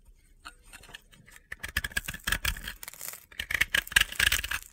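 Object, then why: Bath bomb scraped with a blade. A utility knife blade scrapes powder from the surface of a hand-sized, solid, crumbly blue and yellow bath bomb, a dry powdery soap ball held in the hands. After a quiet first second and a half, dense bursts of crisp, gritty scraping follow in rapid succession. The scraping is bright and crunchy with little low end, and each stroke stops dry with no ring.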